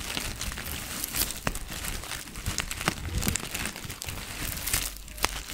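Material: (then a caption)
Plastic. A small clear plastic zip-lock bag with a white label, partly filled with dried green herbs, is held in both hands and crinkled and squeezed with fingertips. Soft, continuous crinkling and rustling is heard, with brief sharper crackles scattered throughout over a low, steady rumble.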